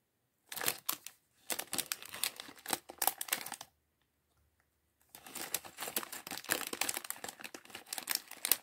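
A small clear polyethylene bag, partly full of loose plastic LEGO bricks from the Chevrolet Corvette C8.R Race Car set 76903, is held in both hands while fingertips rummage through the bricks and crinkle the bag. Quiet, bright crinkling and rapid clicking come in bursts, stop for over a second, then resume as a steady, busier rustle to the end.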